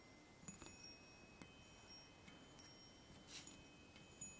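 Fingertips tap three hollow aluminium chime tubes mounted on a wooden block, giving soft, scattered strikes. Each tap brings out bright, high ringing tones that sustain and overlap in a quiet, shimmering wash.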